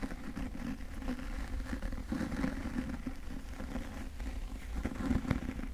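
Fingertips grip and rub or scratch the cover and edges of a solid, medium yellow cloth-bound hardcover book held upright in both hands. The result is a steady, muffled, low-heavy scratching and rubbing texture with soft crackles and no ringing.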